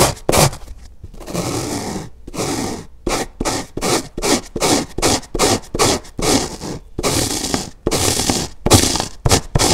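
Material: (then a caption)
Polyurethane foam. Fingertips and nails scratch the surface of a large, dark grey, dry polyurethane foam car-wash sponge, one of two soft, porous sponges lying side by side on a white table, while the other hand rests on the right sponge. About twenty irregular bursts of dry, crunchy scraping are heard, each a broadband rasp with a bright hiss and a low rumble, separated by short silences.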